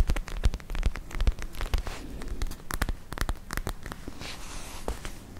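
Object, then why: Soft plastic pouch filled with gel and beads. Long nails scratch a palm-sized, soft, clear purple plastic gel ice pack filled with gel and glitter beads, held close to the microphones. The result is a quick, irregular run of crisp scratching and tapping clicks with a soft crackle, each one dying away almost instantly over a heavy low-frequency thump.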